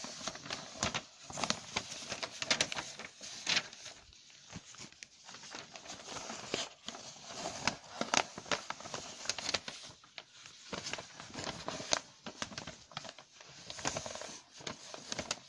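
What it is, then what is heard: Newspaper page. Fingertips tap and scratch the page of a large, thin newsprint newspaper lying open on a surface, then handle and fold its edge. The result is a steady run of quick, dry taps, soft scratches and bright crinkles with almost no low end.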